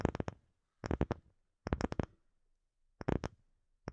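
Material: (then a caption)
Wood. A palm-sized, solid-looking round disc of light-colored wood is held over a microphone and tapped and scratched with long fingernails. Quick, dry, low-heavy taps come in five short clusters of three to four hits each, separated by silence and with almost no ring.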